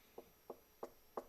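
Knuckles knock on a wooden surface four times, each a short, dry, woody tap centered in the mid range with almost no ring. The knocks come at a steady pace, getting slightly louder toward the end, over a faint steady high hiss.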